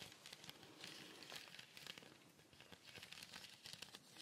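A small, colourful woven fibre cone shaker with a wooden base is shaken and tilted near the microphone. The filling inside makes a continuous bright, crinkly rustle with quick soft pattering accents over about four seconds.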